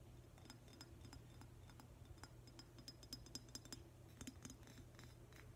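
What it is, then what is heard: Glazed ceramic octopus vase tapped with fingernails. Fingernails tap across the glossy tentacles of a hand-sized, hollow, metallic-green glazed ceramic octopus vase held up in the air. A steady series of short, bright clicks and clinks sounds over a low hum, each dying away almost at once.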